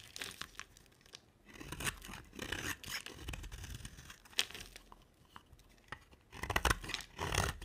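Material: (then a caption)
Soap. A solid oval green soap bar with a dark coating is held in the hand and scraped with a box-cutter blade that peels off shavings. Dry, crackly scraping and tearing strokes come in uneven bursts, bright and gritty, with short quiet gaps between passes and a louder stretch of carving near the end.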